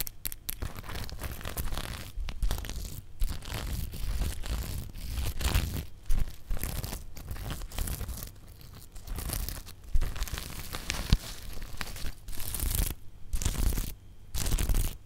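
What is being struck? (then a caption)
Plastic sequin fabric pouch. A small zippered pouch covered in green and multicolour reversible plastic sequins is held in both hands close to the microphone while fingertips and long nails scratch and brush across the sequins, flipping them. Dense, crinkly rasping and scratching comes in fast bursts with brief pauses, over a strong low rumble from the close handling.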